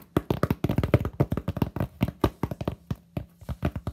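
Fingertips and short nails tap the face of a solid, flat white expanded polystyrene sheet, roughly notebook-sized, held up with both hands. About two dozen quick, hollow taps come in uneven clusters, each a dull low thump that dies almost instantly with little brightness.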